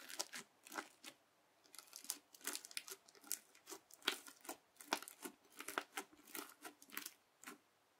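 The edge of a yellow plastic knife, held under a fingertip, presses repeatedly into a flat teal crunchy bead slime. Each press gives a quiet, bright crackling crunch with a short, dry decay and no low end. The presses come in an irregular series of bursts separated by brief pauses.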